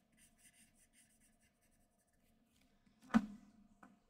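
A black graphite pencil scratches and shades the head area of a figure on flat white drawing paper. Soft, quiet, rhythmic scratchy strokes fill the first second and a half, then fade to near silence. Two sharper strokes follow: a louder, brighter scrape just after three seconds and a smaller one near the end.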